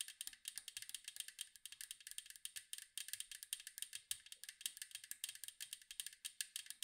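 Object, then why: Metal cookie tin tapped and scratched with long nails. Long mint acrylic nails tap and scratch the blue and white striped side of a round, hollow metal cookie tin with a lid, held in both hands. Dozens of quick, crisp clicks and scrapes follow one another in a steady rapid patter, bright and tinny with almost no low end. Each hit dies away almost instantly.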